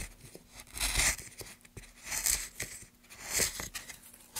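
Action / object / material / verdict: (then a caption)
scrape / pine wood board / pine wood / none. A steel gouge held in gloved hands carves a groove into a solid, light pine softwood board. Three bright, rasping scrapes swell and fade, with faint clicks and ticks in the quieter gaps between them.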